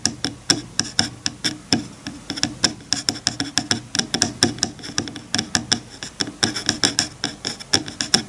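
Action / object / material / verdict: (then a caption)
flick / bamboo hair comb on a bamboo board / bamboo / none. Fingertips flick and scratch the teeth of a wide-toothed bamboo hair comb resting on a bamboo cutting board. The result is a rapid, uneven series of dry, bright clicks with a high, tinny edge, each decaying almost instantly, with faint soft scratching between them.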